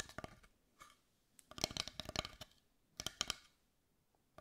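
Long white nails tap rapidly on the surface of a large, carved, dark brown wooden heart with visible grain, held in both hands. The taps come in quick bursts of bright, dry clicks with almost no ring, separated by brief quiet pauses.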